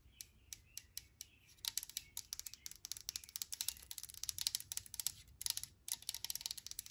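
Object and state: Aluminum sanitizer bottle.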